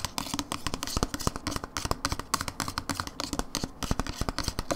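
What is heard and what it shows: A hollow plastic dip tub with a blue lid and paper label, held on its side, is tapped and scratched by long nails. About thirty quick, dry clicks and taps mix with light scratching, each dying away almost instantly.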